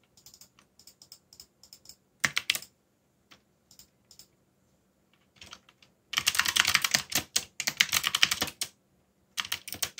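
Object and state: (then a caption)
Plastic mechanical keyboard. Fingertips type on a backlit mechanical keyboard with dark plastic keycaps, starting with sparse light clicks and a short burst, then scattered taps. Around the six-second mark it breaks into a dense, fast run of bright, crisp clacks that pauses briefly and ends with one more quick flurry. Each keystroke is short and dry, with little low end.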